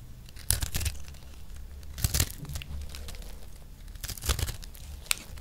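A metal knife blade scrapes and shaves a round, solid, palm-sized, multicolored dry recycled soap disc held in one hand. Short, dry, crackly scraping bursts come in three main clusters over a low, steady background rumble. Each pass ends abruptly with no ring.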